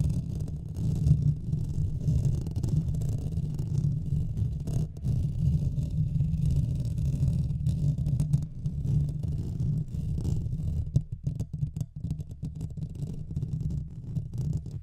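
Both hands' fingernails scratch the hollow metal mesh grille of a Blue Yeti microphone, producing a continuous deep, muffled rumbling scrape with a steady low hum around 156 Hz. The scratching stays dense and steady for about ten seconds, then turns choppier and more broken toward the end.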